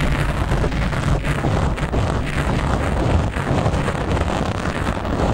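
Long nails scratch a black foam windscreen on a microphone, first with one hand and then with both. A steady, dense, low rumbling rustle fills the whole clip, with brief dips in level.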